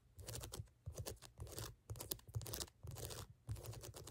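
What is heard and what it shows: Fingernails rapidly scratch and tap across the ridges of a brown ridged rubber sneaker outsole. The result is close, dry crunchy scraping in short bursts separated by brief pauses, with a strong low thump under a bright, gritty rasp.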